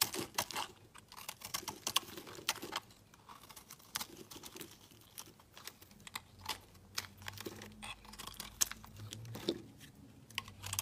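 A utility blade carves a solid, opaque orange soap bar, making a quick run of crisp, bright scraping and slicing ticks at an uneven pace. Shavings patter softly onto a mat between the cuts, over a quiet background.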